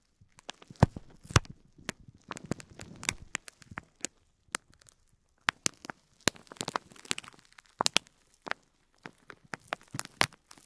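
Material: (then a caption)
Plastic film. Fingertips with short nails press and rub the clear plastic film wrapped around an elongated bundle of small white plastic faux pearls lying on cloth, crinkling it. Sharp, bright crackles and crisp snaps come in irregular bursts over a soft low rustle, with brief quiet pauses between clusters.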